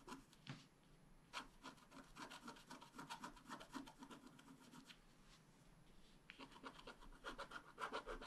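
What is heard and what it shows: A wooden stylus scratches the coating of a thin black-coated scratch-art card lying flat, steadied by one hand, in continuous short strokes. Quiet, dry, bright rasping scratches come in an uneven quick rhythm, easing briefly near the middle before picking up again more strongly at the end.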